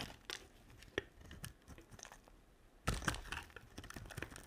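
A black utility-knife blade scrapes and shaves curls off the surface of a hand-sized, solid, translucent yellow-green glycerin soap bar held in one hand, with a pile of shavings building up. Soft, crackly scraping and crinkling strokes with bright edges come in quick bursts, quieter at first, then louder and denser from about the three-second mark.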